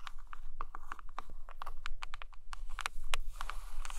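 Long painted nails tap and scratch the cover of a large glossy hardcover photo book with a portrait cover, resting on a blanket. Quick, sharp, bright clicking taps come in an irregular patter, mixed with soft scratchy rasps, over a low steady hum.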